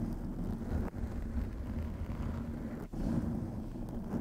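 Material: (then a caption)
Foam. Long acrylic nails scratch a black foam windscreen covering a white microphone from both sides, producing a continuous low, muffled rumbling rustle. The sound is dense and boomy with little brightness, dropping out briefly twice before resuming.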